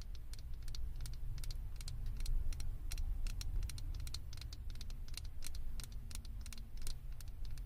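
Long acrylic nails tap and scratch a small, hollow, blue plastic Stitch head topper on a microphone. A rapid, uneven stream of bright, sharp clicks sits over a steady low rumble throughout.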